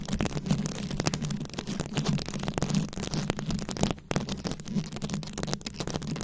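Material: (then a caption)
Plastic. Long acrylic nails scratch quickly over a fist-sized round microphone head coated in plastic rhinestone beads, cupped by both hands. The result is a dense, continuous rattle of fast clicky, crackling scrapes, with a steady low hum-like tone near 200 Hz underneath and a brief dip in the scratching about two-thirds of the way through.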